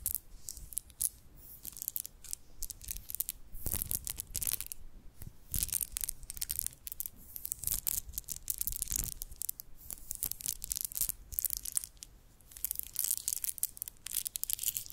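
About twenty to thirty small, solid, round freshwater nacre pearls are shaken and rolled in a cupped palm so they clack together. A dense, continuous stream of quick, bright, dry clicks is heard, with short louder bursts and soft low rustling thumps underneath.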